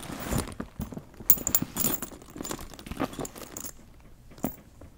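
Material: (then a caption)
Leather. A small brush strokes and scratches the surface of a black leather handbag with a gold chain while fingers hold the bag. Close, dry scratching and rustling bursts come in uneven clusters, punctuated by a few sharp, bright clicks and a faint metallic jingle.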